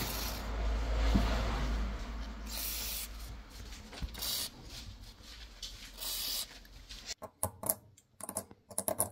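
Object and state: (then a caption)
Sealed metal box full of small loose items. A small, still-airtight silver-plated jewellery or sweet box, pulled from a canal by magnet fishing, is shaken before opening, and the small loose items inside turn out to be pearls. A steady low rumble and soft scratchy rustle fill most of the clip. It ends in a burst of sharp, irregular, bright clicking rattles as the contents knock around inside.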